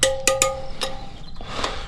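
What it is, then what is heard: Slightly loose motorcycle wheel spoke. A wrench taps a spoke on a steel motorcycle wheel several times, each strike giving a short metallic ring with a clear tone near 530 Hz and bright overtones. Later taps sound duller, with background music underneath. The slightly hollow ring shows a spoke that is slightly loose and needs tightening.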